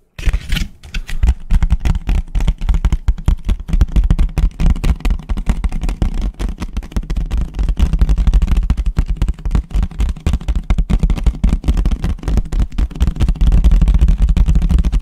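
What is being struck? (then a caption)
Thin paper plate. A light, thin white paper plate is held upside down and tapped fast on its underside with the fingertips. The result is a dense, continuous stream of quick, dull, low thuds with almost no ring, running steadily for the whole clip.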